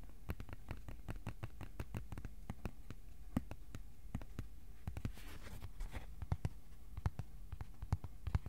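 Fingertips tap on a thin white cardboard sheet, first held upright and then laid flat. The steady stream of quick, dry, muffled taps is mostly low in pitch and dies away almost at once, with a faint papery rustle partway through.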